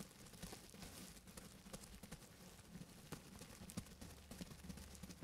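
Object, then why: Plastic bubble wrap sheet. Fingertips in grey fabric gloves tap and scratch the air-filled bubbles of a large sheet of clear plastic bubble wrap set around a central microphone, working on either side of it. The result is quiet, soft crinkling and scratching, punctuated by short, sharp, bright ticks over a steady low rumble.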